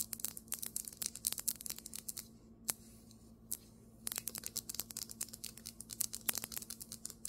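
Long acrylic nails rapidly tap and scratch the surface of a large, solid white marble tabletop. Bright, sharp clicks and scrapes come in quick bursts, pause for about a second and a half with only a couple of isolated taps, then resume. A faint, steady low hum runs underneath.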